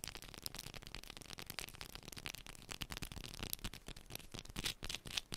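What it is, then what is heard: Bar of soap. A small, solid yellow bar of soap, held in both hands, is scratched quickly with long pointed nails. The result is a dense, fast run of quiet, bright, crisp scraping and clicking sounds with very short decay.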